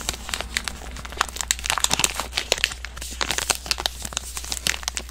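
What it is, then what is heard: Plastic-wrapped soap bar. A green soap bar in a plastic film package is crinkled and squeezed with fingertips and long nails close to the mic. Dense, bright crinkling and crackling snaps overlap with no pause, each dying away almost at once, over a faint steady low hum.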